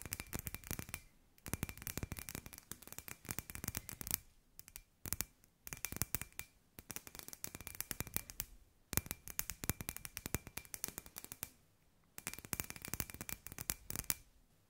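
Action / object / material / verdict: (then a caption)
tap / hollow glass ball with lights inside / glass / none. Long nails tap rapidly on a hand-sized hollow glass sphere with fairy lights inside. The result is dense bursts of sharp, bright clicks separated by short pauses, with a faint steady tone around 2.5 kHz running beneath them.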